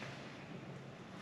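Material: Nothing is struck.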